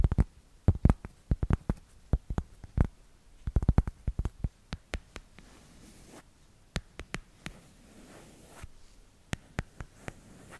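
Long red nails tap and scratch the back of a small, solid smartphone in a black plastic case with paw-shaped cutouts. The sound is a run of sharp, dry clicks that die out almost instantly, plus soft scratching in the pauses, all low and muffled.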